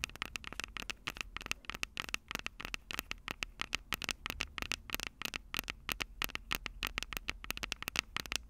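Long purple nails tap and scratch the two silver metal mic capsules on the plastic body of a Tascam DR-05 handheld recorder. The result is a rapid, uneven stream of sharp, bright clicks and scratchy crackles with almost no ring. A faint low hum sits underneath.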